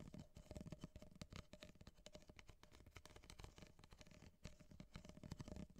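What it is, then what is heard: Empty corrugated paper cup. Long painted nails tap and scratch rapidly on the ribbed cardboard wall of an empty, hollow, corrugated ripple-wall kraft paper coffee cup held upright. The result is a quiet, continuous stream of short, dry clicks and scrapes over a low, hollow thump from the cup body.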